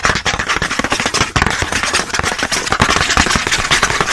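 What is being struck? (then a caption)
Thin cardboard packaging card. Fingernails scratch fast across the printed back of a thin cardboard pen-pack card held in the hand. The result is a dense, continuous run of rapid, dry, bright scraping strokes with little low-end weight.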